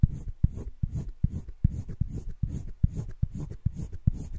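A yellow-green colored pencil scratches shading strokes across flat cream drawing paper in a wire-bound spiral sketchbook, filling in a heart. The quick back-and-forth strokes come as a steady run of short, dry scratches, each with a low thump and faint high hiss.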